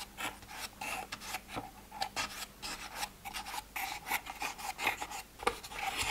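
Fingertips and nails scratch and tap the lids of a multi-row translucent plastic pill organizer, some of its compartments open and empty. About fourteen quick, dry scraping and tapping bursts sound bright and raspy with almost no low end. Each stops dead, with no ring.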